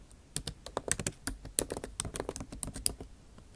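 Long nail tips type on a backlit MacBook Pro keyboard with plastic keycaps in an aluminum body. About nineteen quick, dry clicks and taps follow one another over a few seconds, each sharp and bright with almost no ring.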